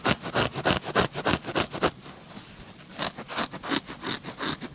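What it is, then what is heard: Paper playing card deck. Short fingernails scratch and rub the patterned surface of a red-backed paper playing card deck held in hand, making quick, rhythmic, bright scratching strokes. Midway the strokes blur into a softer, steady rubbing before the sharper scratching picks up again.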